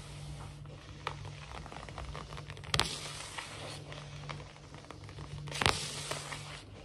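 Fingernail tips quickly scratch and tap across a large, solid, glossy wood-look laminate floor, making dry rustling, crackling scrapes alongside hand movements. Several sharper taps stand out, the two loudest giving bright clicks, over a faint, steady low hum.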